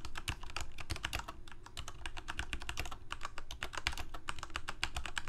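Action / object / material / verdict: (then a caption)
tap / plastic mechanical keyboard / plastic / none. Fingertips of both hands type continuously on a full-size black plastic Corsair K68 gaming keyboard with backlit keycaps, Cherry MX Red switches and a hollow plastic case. A fast, steady stream of short, bright plastic clacks rides over a low, hollow thump from each keystroke, with only brief gaps between bursts.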